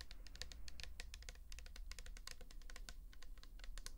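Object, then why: Plastic toner bottle. Long nails held in both hands tap rapidly on a pink plastic toner bottle filled with liquid. The result is a dense, continuous patter of short, bright clicks with almost no ring, layered over a steady low hum.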